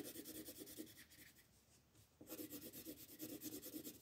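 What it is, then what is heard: Colored pencil shading on paper. A green wooden colored pencil shades the grass on a paper coloring book page lying on a table while the other hand holds the page steady. Quick, repeated scratchy rubbing strokes with a bright papery rasp come about three per second, fade to a soft near-pause midway, then resume louder and steady.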